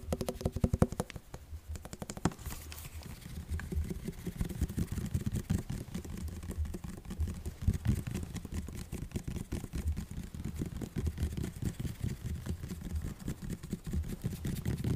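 An orange, liquid-filled plastic body mist spray bottle with a striped label is held upright close to a microphone and tapped all over with fingertips and nails. The result is a dense, steady stream of quick, soft, low, muffled taps with very little brightness. A few sharper clicks stand out near the start.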